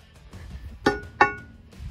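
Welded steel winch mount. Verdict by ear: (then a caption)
Solid. A homemade welded steel winch mount on a Ford Ranger is struck twice, each strike giving a sharp metallic clang that rings with a bright, bell-like tone over quiet background music. The mount is solid.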